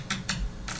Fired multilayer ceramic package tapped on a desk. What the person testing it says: you can hear that it's a dense ceramic now